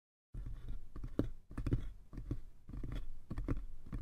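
Fingertips tap and scratch the sides and lid of a small, hollow, light-wood box. After a brief silence, a continuous run of soft, dry, hollow knocks mixes with light scratching. The sound is mostly low and dull, and each tap dies away almost at once.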